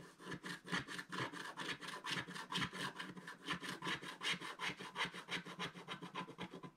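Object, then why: Wax-coated scratch art paper scraped with a wooden stylus. A wooden stylus scrapes the black coating in the center of a flat sheet of wax-coated scratch art paper with a back-and-forth scratching motion. About 23 quick, dry, rasping strokes follow one another steadily, bright and hissy with a scratchy peak near 2 kHz and little low end. Each stroke stops almost instantly.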